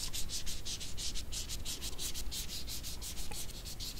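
Small dried red jujubes with dry, wrinkled skin are held at the fingertips and rubbed together. They make a steady run of quick, dry, scratchy rasps, each a bright, papery hiss, over a faint low rumble.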